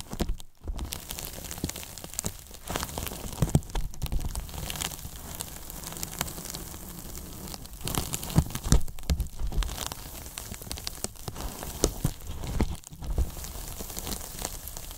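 Both hands grip the sides of a large, hollow white closed-cell polyethylene foam box with a microphone inside, squeezing it and rubbing the foam with fingertips and palms. It gives a continuous dense crackling, squeaking rustle, heavy in the low end, scattered with sharp short snaps and brief quieter pauses.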